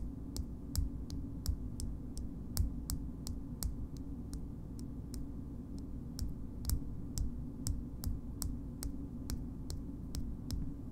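The base of a small pink frosted glass cream jar is tapped slowly with long nail tips. It gives a steady series of short, bright clicks that die away almost instantly, over a constant low hum.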